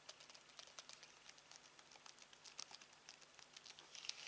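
Fingertips tap and press the buttons of a black plastic Samsung TV remote held over fabric. A quick, uneven stream of light, bright, dry clicks and taps is heard, each ending almost at once, with a few sharper presses standing out near the end.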